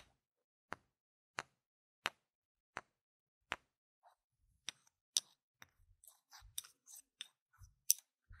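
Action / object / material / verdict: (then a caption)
knock / small plastic game tokens / plastic / none. Two small, solid, round plastic game gem tokens, held by fingers with long red nails, are knocked together edge to face. Five sharp, bright clicks come slowly and evenly spaced, with almost no ring. They are followed by a quicker, denser run of lighter clicks and rattles.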